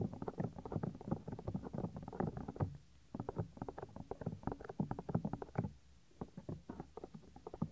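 Fingertips rub and squeeze the small, solid, white soft silicone ear of a 3Dio binaural microphone. The result is a dense run of close, muffled, low scratchy rustles and soft thumps with no bright top end. The rubbing pauses briefly around the three- and six-second marks.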